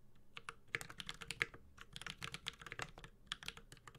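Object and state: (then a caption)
Mechanical keyboard with plastic keycaps. Fingertips of both hands type continuously on a Space65 Cybervoyager, a 65% mechanical keyboard with a white-gold metal case, Holy Panda switches and ABS plastic keycaps. The result is a steady stream of short, bright, clacky keystrokes with a quick decay and a light low thump under each press.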